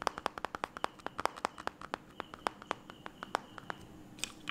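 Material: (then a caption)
Glass. Fingertips and short nails tap rapidly on the shattered glass touchscreen of a white smartphone lying flat. A fast, irregular series of sharp, dry clicks sounds, each stopping almost instantly with no ring, and the taps thin out toward the end.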